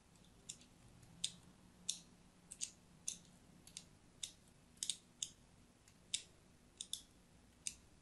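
A thin blade scores lines into a solid, palm-sized orange-and-white striped soap bar held in the hand. About fifteen short, crisp, bright scratching clicks sound over a faint low hum, each dying away almost at once.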